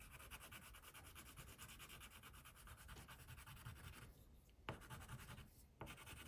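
An orange wax crayon held in the fingertips rubs quick, scratchy strokes across a flat white paper coloring sheet, giving a steady, rhythmic papery scratching with a bright hiss over a soft low rumble. After about four seconds the strokes quiet to a lighter rub, broken by two sharper taps of the crayon against the page.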